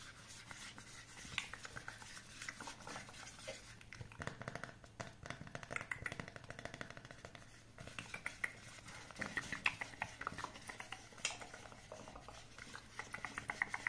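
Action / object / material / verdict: tap / smartphone in a silicone case / silicone / none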